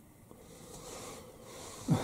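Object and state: Nothing is struck.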